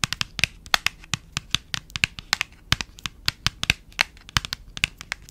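A small cream printed paperboard box, hand-sized and apparently empty or near-empty, is held close and tapped and scratched with long acrylic nails. The result is a rapid, irregular string of dry, bright clicks and crinkly scrapes with almost no ring, over a quiet background.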